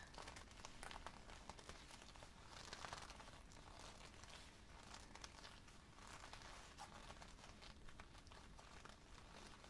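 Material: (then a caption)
Leather. Fingertips of both hands crumple and rub the leather collar of a worn black leather jacket near the neck. A steady, soft crinkling and rustling of leather runs throughout, with bright crackly texture over a low rumble and no clear pauses.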